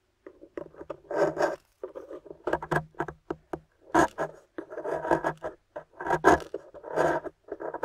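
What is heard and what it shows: A thin metal loop scraper shaves the corner of a small, solid, rectangular plaster excavation bar painted gold and embossed "GOLD," held in the hand, leaving powdery crumbs. Short, dry scraping strokes come in quick bursts with gritty rasping textures, separated by brief silences, with little low end.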